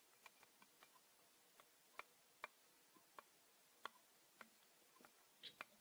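A thin, flat, transparent plastic geometry set square with a yellow protractor arc is held in both hands and tapped and flexed with the fingertips. It makes quiet, dry, ticking clicks with no ring, spaced irregularly, a few sharper than the rest, with a soft crinkly flex near the end.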